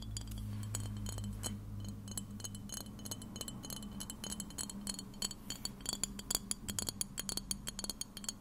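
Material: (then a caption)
Glass. Long red nails tap and scratch a clear glass spray bottle with a white nozzle, hollow and partly filled with liquid. Rapid, bright glassy clicks and clinks stop almost instantly over a steady low hum. The tapping grows sharper and more pronounced in the second half.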